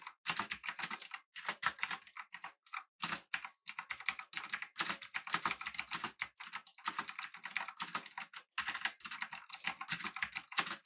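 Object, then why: Mechanical keyboard with round plastic keycaps. A full-size backlit typewriter-style mechanical keyboard with an aluminum body and round plastic keycaps is typed on with the fingertips of both hands. Fast bursts of short, crisp clicks and clacks fill the clip, broken by brief pauses. Each keystroke is bright and dies away almost instantly.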